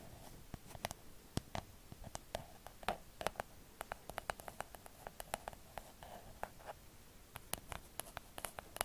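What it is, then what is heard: Plastic cloud lamp. A hollow, pink, cloud-shaped plastic night light is held near the mic and scratched and tapped with long acrylic nails. The result is a quiet, dry stream of sharp clicks and light scratches with a hollow plastic tone around 700 Hz and bright ticking tops, each tap dying away almost instantly.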